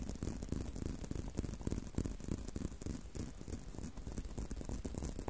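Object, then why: Leather belt strap. Fingertips and short nails tap and scratch along the outer surface of a long, thin, solid tan-brown leather belt strap held curved in a loop. The result is a steady stream of soft, muffled, low thuds with a faint scratchy rustle, about three taps a second at an irregular pace and with no ringing after each one.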